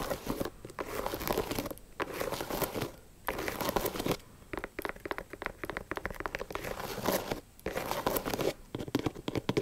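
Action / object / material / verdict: scrape / leather high-top sneaker / leather / none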